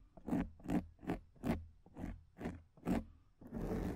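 Long nails scratch the top of a black foam microphone windscreen with both hands, making seven short, raspy scratching strokes followed by a steadier continuous scratch. Each stroke is a dense, crackly rustle with a thick low body and a bright hissy edge, stopping quickly with little ring between strokes.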